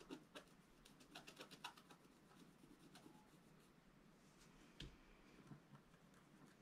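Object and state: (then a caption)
Scratch art paper being scratched. A flat black coated scratch art paper sheet on a table is scratched and rubbed with a wooden stylus. Quiet, dry, bright scratching strokes come in quick bursts early on, then settle into a soft, steady rubbing hiss. A sharper scrape stands out near the end.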